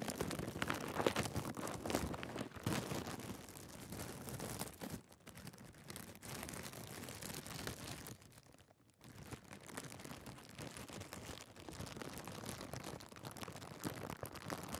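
A thin, clear plastic bag laid over the top of a camera is crinkled and rubbed with fingertips and short nails close to the built-in mics. The result is a dense, continuous crackle and rustle over a wide range, from low to bright, with too many overlapping crinkles to count. The noise eases into a quieter lull around 5 seconds and drops almost to silence near 9 seconds before the crinkling picks up again.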